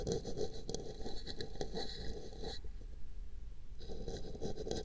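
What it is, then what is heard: Paper cup being brushed. A small brush scratches and brushes over a hollow, empty pink paper cup placed over a microphone ear. The result is a dense, continuous scraping with a hollow midrange tone and bright upper hiss, which thins out briefly near the middle before the scratching resumes.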